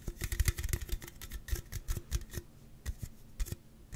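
A hollow, slim Celsius aluminum drink can is tapped and scratched on its end and side with fingertips and nails close to the mic. Quick, dry taps and clicks with a low thump and bright scratchy edges come in a dense run that spaces out toward the end.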